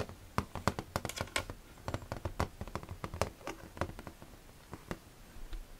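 Fingertips tap the clear door and walls of an empty, hollow, clear plastic storage box with its front door opened. A quick, irregular patter of short, dry taps is heard, each with a hollow low thump under a brief bright click and almost no ring.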